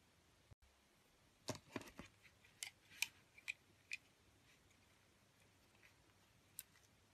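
A metal utility blade shaves curls off a solid oval, green, translucent bar of soap with an embossed face, held in a long-nailed hand. The quiet, bright, crisp scraping cuts come in short, dry bursts clustered between about 1.5 and 4 seconds, with one more near the end, each centered around 2.4 kHz with almost no ring.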